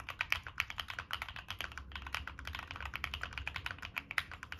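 Fingertips type quickly on a Monsgeek M1 mechanical keyboard with NK Cream switches, a dark metal case and purple and black plastic keycaps. A steady stream of short, bright clacks comes through, each dying away almost instantly, over a faint low rumble.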